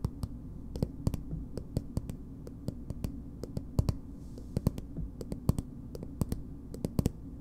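Long nails tap a small, soft plastic BB cream tube at an uneven, unhurried pace. About thirty short, dry clicks with a bright edge sit over a steady low hum, each dying away almost instantly.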